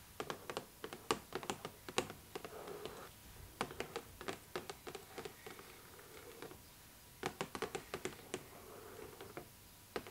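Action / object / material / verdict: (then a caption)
tap / cardboard doll box with clear plastic window / cardboard, plastic / none. Long nails tap quickly on the clear plastic window and cardboard edge of a cardboard doll box held close, making dozens of sharp, dry clicks in bursts. Between the bursts come softer scratchy, rustling stretches, and there is a brief lull before a final flurry of taps.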